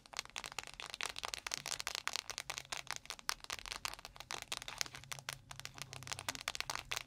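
A clear plastic panda-shaped ice pack filled with gel, standing on a microphone, is tapped and scratched rapidly with long nails. Dense, sharp, bright clicks and crinkly scratches follow one another with almost no ring, over a faint low hum.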